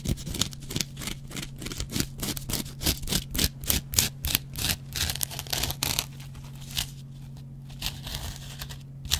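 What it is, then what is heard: Dry cellulose sponge scratched with a razor blade. A metal double-edged razor blade scratches the yellow cellulose foam of a hand-sized, dry kitchen sponge that has a green scouring pad. Quick, irregular dry scraping strokes crackle brightly over a steady low hum, about three per second. They thin out and soften after about six seconds before one last sharp scrape.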